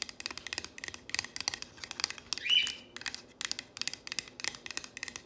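Long nails trace, tap and rub over a solid painted wooden plank sign reading "If MaMa ain't happy." A quick series of dry, bright clicks and taps is heard, with a louder scraping rub midway before the rapid tapping resumes.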